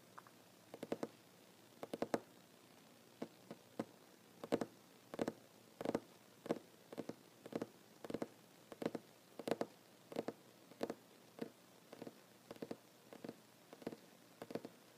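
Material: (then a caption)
Wood. Short fingernails on one hand tap quickly on a large, solid wooden tabletop while the other hand rests on it. The result is quiet, dry, knocking clicks centred in the midrange. They come in uneven little bursts about one and a half times per second, each dying away almost instantly over a faint steady hiss.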